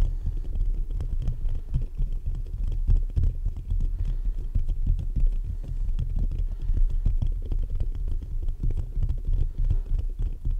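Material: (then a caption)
Metal mesh. Fingertips of both hands continuously scratch and tap the top of the hollow metal mesh grille on a black USB condenser microphone. The result is a dense, boomy low rumble, centred around 82 Hz, with rapid, overlapping thumps and scratches that never pause across the clip.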